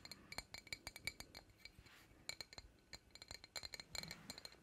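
A medium, empty glass jar with a green lid and a printed Princess Tiana design is held up in both hands and tapped with long acrylic nails. About 22 quick, bright clinks ring with a hollow, glassy tone around 2.3 kHz and die away almost instantly, in uneven bursts over quiet background hiss.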